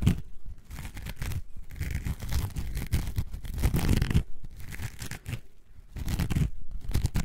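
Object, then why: Coarse foam sponge. A coarse orange foam sponge, held in both hands, is scratched and squeezed with long nails. The result is a dense, low, crunchy scratching and rustling in uneven bursts, with brief quieter gaps between strokes.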